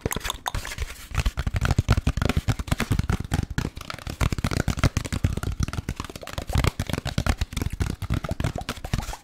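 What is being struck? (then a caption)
Molded paper pulp food tray. An empty, thin-walled beige molded paper pulp compartment food tray is held in both hands and tapped and scratched with the fingertips close to the microphone. The result is a dense, continuous run of quick, dry taps and papery scratches with a soft, low thumpy body and almost no ring.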